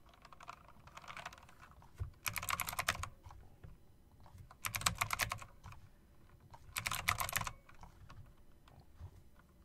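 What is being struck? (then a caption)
Mechanical keyboard with round plastic keycaps and metal rims. A typewriter-style mechanical keyboard with round plastic keycaps and metal rims is typed on slowly with long-nailed fingertips. Soft, scattered key clicks are punctuated by three brighter, denser bursts of rapid clattering, each with a low thump underneath, against a faint background hiss.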